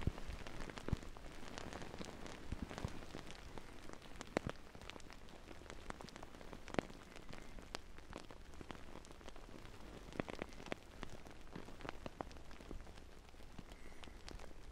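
Both hands quickly scratch and tap the top of a large, soft, filled navy fabric-covered pillow held upright, using fingertips and nails. The result is a quiet, steady, rain-like patter of dense soft taps with a low, muffled body and a few sharper clicks scattered throughout.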